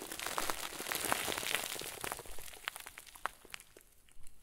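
A head-sized, round white plastic bag, tied and stuffed full into a crinkle ball, is squeezed and crumpled by the fingers and thumbs of both hands. A dense, bright crinkling fills the first half, then thins out into sparser, separate crackles and pops that fade quietly toward the end.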